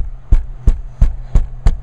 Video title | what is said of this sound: Amazing Results w/ Audio Techinix Sound Deadener: Rattle TEST Before & After - EXO Car Audio Review | it sounds like a tank when you shut this thing